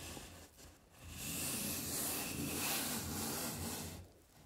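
A round baren with a wooden knob handle is rubbed in circular strokes over a sheet of white printing paper lying flat on an inked linoleum block, while the other hand holds the paper in place. A soft, bright, hissing rub swells after a quiet start, holds steady for a few seconds, then fades.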